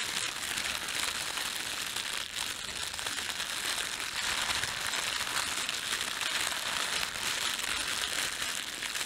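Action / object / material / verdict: scrape / thin plastic bread bag / plastic / none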